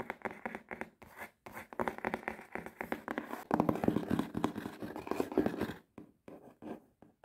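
Long red-painted nails rapidly scratch and tap the front and side of a closed, hollow, medium-size printed cardboard subscription box with a cinema-seat design. The result is a fast, irregular run of dry, papery scratches and short hollow taps, strongest in the middle. It thins out at the end into a few separate taps with pauses between them.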